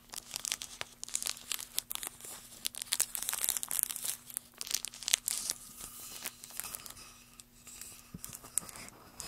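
Bare fingertips and nails scratch and tap a large, solid, light-colored wooden block that looks like basswood. The result is a dense, crackly run of sharp, dry, high-pitched scratches and quick clicks with almost no low end, over a faint steady low hum.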